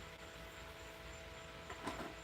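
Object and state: Nothing is struck.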